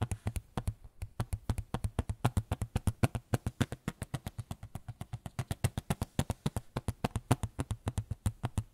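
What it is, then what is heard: Small photo frame. A small white photo frame is tapped rapidly with the fingers in an uneven rhythm, about 64 short, dry taps with a low, hollow thump and a faint bright click on each. There is no talking.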